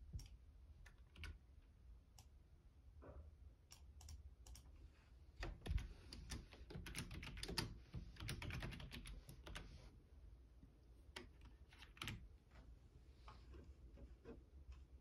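Fingertips type on the keys of a black plastic Logitech membrane keyboard, producing irregular soft clicks and taps with short, dry decays. A denser burst of keystrokes occurs in the middle of the clip over a low background hum.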